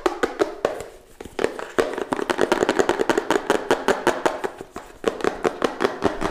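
Fingertips and nails tap fast on the faces and edges of a small, hollow, closed pink-purple cardboard smartphone box held close to the microphone. About 35 quick, dry, hollow knocks centred around 400 Hz die away almost instantly, with bright clicky nail edges. The rhythm is rapid and uneven, with a short lull near the one-second mark.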